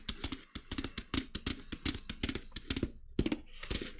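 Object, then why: Small glitter-coated fabric clutch bag. Long nails tap and scratch the surface of a small black glitter-coated fabric clutch bag held by its metal handle. A quick, uneven run of short, dry taps mixes with bright, crackly scraping and faint low thumps. There is a brief pause near the three-second mark before a stronger tap and continued scratching.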